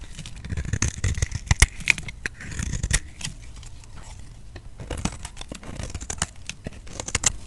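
A utility knife blade scrapes along a solid, hand-sized bar of white soap with a teal rim held in the palm, shaving off thin curls. The scrapes come as quick, irregular, dry crackling rasps with bright crispy edges over a soft low handling rumble. Each shaving stroke ends abruptly with almost no ring.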